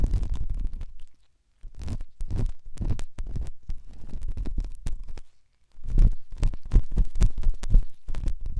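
A pen tip held in the fingers rubs and scratches inside the ear canal of the left white silicone dummy ear on a binaural microphone. The result is close, deep, muffled scraping and crackling in irregular bursts, with two brief silent gaps.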